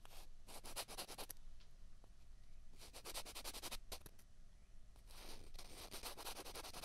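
Two small hollow white plastic ping pong balls are pressed together and scraped against each other by the fingertips. The result is repeated bursts of bright, dry, scratchy rubbing, each made of quick gritty strokes, separated by short quieter gaps over a low steady rumble.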